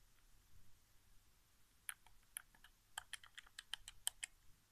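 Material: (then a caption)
Plastic. Fingertips press and tap the buttons of a hollow white plastic PS4 game controller resting on carpet. Twelve short, bright plastic clicks ring out after a quiet start, speeding up into a quick, irregular run with almost no ring after each one.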